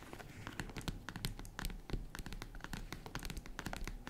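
Long red nails scratch rapidly across the grained top surface of a small tan faux-leather zippered jewelry case. Quick, bright, crackly scratches and taps come in a dense, irregular stream over a soft low rumble, each one dying away almost at once.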